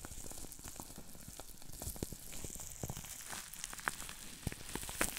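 Fingertips squeeze and pinch the small air bubbles of green plastic bubble wrap to pop them. Sharp, bright pops and snaps come over a steady crackling, sizzle-like rustle of the plastic, with a few louder pops near the end.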